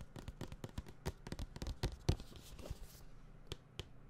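A medium-size, closed white printed cardboard tablet retail box is held up beside the microphone and tapped with the fingertips. It produces a quick, irregular series of soft, dull, hollow thuds that are mostly low in pitch and die away almost instantly. A faint papery rustle runs between some of the taps.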